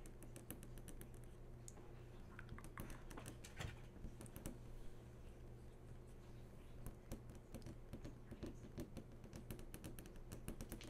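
Long fingernails tap and drag across the hard screen of a large, switched-on flat-screen TV. The result is a quiet, rapid patter of short, dry clicks mixed with soft scratchy tracing, all over a steady low hum.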